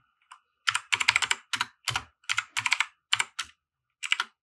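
Fingertips of both hands type on a compact 60% mechanical keyboard with white plastic keycaps and RGB lighting, resting on a felt desk mat. About twenty bright, crisp plastic clacks come in quick bursts with short pauses between them. Each keystroke is dry and dies away almost instantly.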